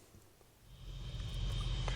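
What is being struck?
Nothing is struck.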